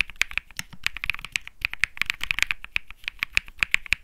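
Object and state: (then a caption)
Mechanical keyboard with plastic keycaps. Both hands type rapidly with their fingertips on a Think 6.5, a 65% mechanical keyboard with Bsun Lollipop switches and plastic keycaps. It makes a quick stream of short, bright, clacky key presses with almost no ring, centered around 2.5 kHz.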